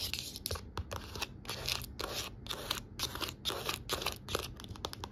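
Long nails scratch and tap along the spine and cover edge of a navy cloth-bound hardcover book with gold lettering. Quick bursts of dry, bright scratching alternate with short taps, and a faint low hum sits underneath.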